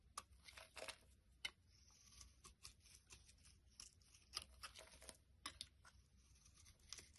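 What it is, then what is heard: Bar soap being carved. A utility blade shaves long curls off a solid rectangular pale yellow bar of soap held in the hand. Quiet, bright, crackly scraping strokes come in short bursts, with sharp ticks as the blade bites and a faint low hum underneath.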